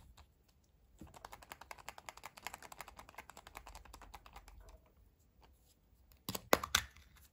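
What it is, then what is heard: Plastic toy capsule. Long painted fingernails grip, rub and twist a small, closed, hollow yellow plastic Kinder Surprise toy capsule held in both hands, prying it open. A quick run of light, bright tapping clicks fills the middle of the clip. It ends with a few sharp, louder plastic snaps as the capsule gives.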